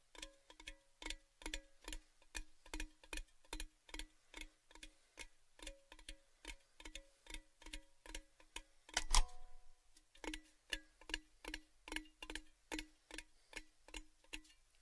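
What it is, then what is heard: Metal gift tin. A tall, cylindrical, orange-painted metal Baileys gift tin, open-ended and empty, is held tilted and tapped on its side with the fingertips. About 37 quick, evenly paced taps each give a short hollow metallic ping with a low ringing tone and bright overtones. One louder, sharper tap lands near the middle, followed by a brief pause.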